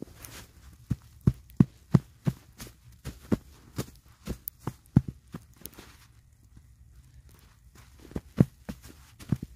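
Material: Snow.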